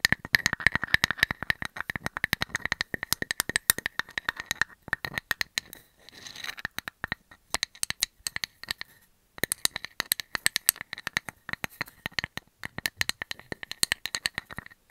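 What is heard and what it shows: A hand-sized, round, solid wood slice with a bark edge and a painted cartoon face is scratched and tapped with metal nail caps. The result is a steady stream of rapid, dry, bright clicks and short scrapes with almost no ring, pausing briefly near 6 and 9 seconds.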